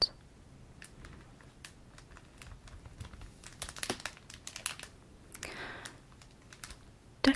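A small flat pack of clear polypropylene card sleeves, in a shrink plastic bag with a cardboard header, lies on a red cloth while the fingertips and nails of both hands tap and scratch the wrapped surface. Quiet, dry, bright clicks and crinkly scratches cluster in the middle, with a softer rustling swish near the end and a sharp final tap.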